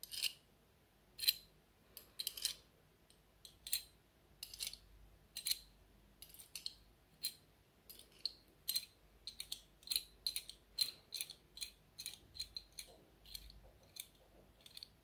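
A long fingernail taps and scratches the enamel and metal surface of a small, solid, square enamel pin with a gold metal rim, held up in one hand. An irregular series of sharp, bright clicks and brief scratches sounds, each very short with a faint high metallic tick and almost no low end, over a quiet background.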